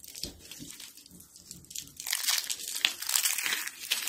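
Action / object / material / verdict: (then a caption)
scrape / stack of thin dried soap sheets / soap / none. A thin, brittle stack of dried cream-colored soap sheets is bent and crunched between fingertips with short blue nails. Soft, faint crinkling in the first two seconds gives way to louder, bright, dry crackling crunches in quick, irregular bursts.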